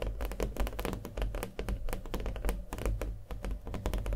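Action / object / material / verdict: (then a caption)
tap / small stretched canvas with thick acrylic paint on a wooden frame / acrylic canvas / none. A small stretched canvas covered in thick acrylic paint, with a hollow frame, is held and tapped rapidly with fingernails. The result is a fast, steady stream of dull, hollow clicks and taps with a deep, booming low end and little brightness, each tap dying away quickly.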